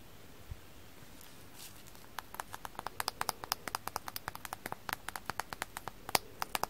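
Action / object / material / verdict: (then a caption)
tap / frozen sponge with floral foam dust / frozen foam / none. A frozen floral foam sponge coated in foam dust is tapped with the fingers. After a soft thump and a faint rustle, a quick run of sharp, dry, bright taps follows, each cut off almost at once. The taps grow slightly louder and stay fairly evenly spaced until the end.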